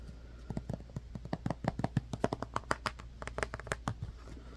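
A hand-sized white plastic Elmer's Glue-All squeeze bottle with an orange cap, held in one hand, is tapped with the fingertips and nails of the other. It makes a quick, irregular run of short, dry plastic taps, more than a dozen, mostly low and mid toned. The taps die away almost instantly over a faint steady high hiss.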